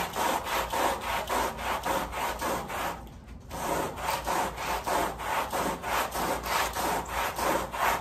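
The wet, foamy back side of a woven pile area rug, laid on a plastic sheet, is scrubbed with a red-handled white bristle push brush. Rhythmic, brisk back-and-forth strokes make a raspy, sawing swish with a bright hiss. The scrubbing pauses briefly around the three-second mark, then resumes at the same steady pace.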